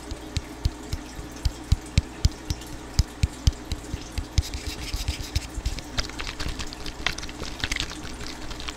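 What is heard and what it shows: A medium purple, hollow plastic spray bottle with a trigger head is held in both hands right in front of the microphone and rubbed and tapped with fingertips. Sharp, dry taps land as deep, short thumps over a soft, steady rubbing hiss. In the second half the taps come closer together and the rubbing grows into a denser, brighter scratching.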